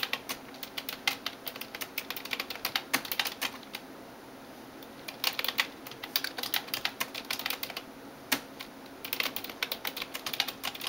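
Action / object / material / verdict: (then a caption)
tap / plastic computer keyboard / plastic / none. Fingertips and nails tap rapidly on the keys of a backlit plastic computer keyboard, making crisp, bright clicks in quick bursts. The typing pauses briefly around four seconds and again near eight seconds before picking back up.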